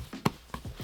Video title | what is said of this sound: GORUCK Shoulder Bag in Waxed Canvas // Heritage or not? (I'll Explain) | that was the padding not the laptop colliding with the hard taable top